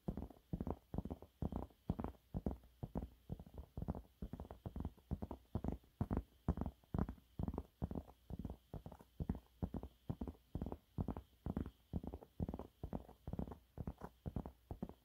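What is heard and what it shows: Fingernails on both hands scratch quickly at a yellow waffle-textured cleaning cloth held upright. The result is a fast, uneven run of short, dry, muffled scratching bursts, heavy in low tones, quiet, and with no ring after each stroke.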